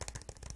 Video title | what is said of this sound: ASMR Autism Chat: Diagnosis Expectations vs Reality (soft spoken ramble, plastic container tapping) | So we're tapping on this lovely container that I love. It makes wonderful sounds.